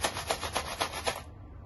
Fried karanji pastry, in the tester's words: करंज्यांचा आवाज घ्या किती मस्त असा कुरकुरीत आवाज येतोय